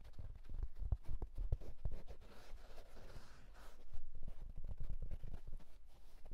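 A houndstooth wool tweed fedora is held and scratched with fingertips on the crown and brim. The result is a quick run of short, soft, muffled thumps and scratches, mostly low in pitch, with a brief stretch of smoother fabric rustle in the middle.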